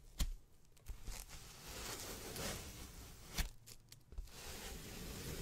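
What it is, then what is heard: Polyethylene foam packaging sheet. A white ribbed polyethylene foam packaging sheet, rolled into a strip, is twisted and rubbed between both hands. It gives a soft, bright rustling and crinkling with a low rumble underneath. A few sharp crackles and snaps cut through, one near the start and one past the middle.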